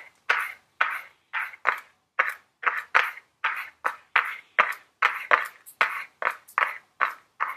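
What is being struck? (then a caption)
Small cardboard makeup palette box. Very long blue nails tap the front of a small, flat Ellen Tracy cardboard makeup palette box held in the hands. Nineteen dry, hollow taps with a mid-range knock and a bright edge come in a quick, uneven rhythm, each dying away almost at once.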